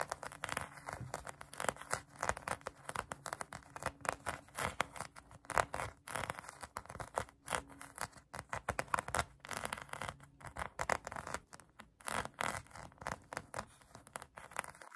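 Long acrylic nails scratch a pink polyurethane foam donut squishy toy, making a rapid run of dry, papery scratching and scraping strokes. The brushy hiss is strongest in the mids, with a faint low hum underneath.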